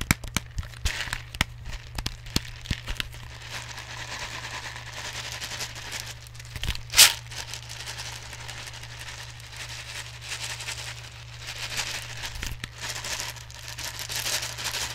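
Fingers and nails tap and scratch a large clear plastic jar with a black lid and label, full of plastic airsoft BBs. Sharp, bright taps come first, then give way to continuous crinkly, crackling scratching with a louder burst near the middle. A steady low hum runs underneath throughout.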